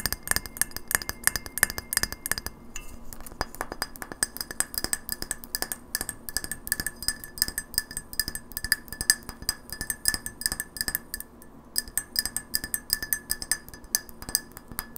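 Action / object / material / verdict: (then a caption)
tap / glass light bulb / glass / none. Long fingernails tap fast on a hand-sized, hollow, frosted white glass light bulb with a metal screw base, held by hand as it lies on a wooden table. The result is a dense run of crisp, bright clicks that die away almost at once, with a faint glassy ring near 1.75 kHz and brief pauses near 2.7 s and 11.5 s.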